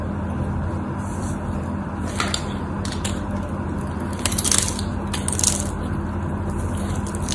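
A solid cream-white bar of soap is held upright in the hands while a utility knife blade carves its surface. Soft, crisp scraping and crunching cuts rise over a steady low hum, with brighter bursts of shaving around the middle and near the end.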